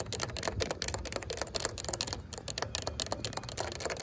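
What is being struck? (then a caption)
Ribbed plastic fence top guard. Long pink acrylic nails tap and scratch across the ridges of a yellow, ribbed, hollow plastic corrugated fence top guard, a safety cap on top of a chain-link fence. A rapid string of sharp, dry clicks and raspy scrapes, each decaying almost instantly, with a bright high edge over a faint low rumble.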